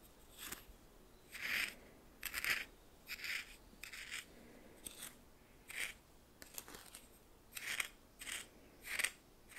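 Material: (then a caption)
Salt. A red plastic spoon stirs coarse white salt in a small, hand-held clear bowl with a metallic rim. Short, bright, gritty scraping and crunching bursts come at an uneven pace over quiet pauses.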